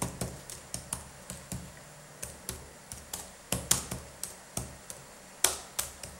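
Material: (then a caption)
Plastic. Gloved fingertips press and tap the red-backlit plastic keys of a black Dell laptop keyboard with a hollow key mechanism. Twenty short, bright clicks come at an uneven pace, each fading almost instantly, with a few sharper, louder taps standing out.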